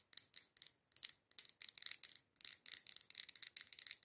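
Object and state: Glass candle jar filled with wax.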